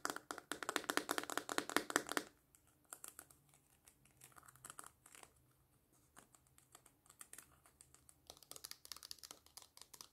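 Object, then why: Small clear plastic tub with lid. A small, hollow, clear plastic slime tub with a lid and paper label is held in the hand and tapped with long painted fingernails. A fast, dense flurry of bright, clicky taps runs for about two seconds, then gives way to quieter, scattered tapping and light crinkling, before the taps pick up again toward the end.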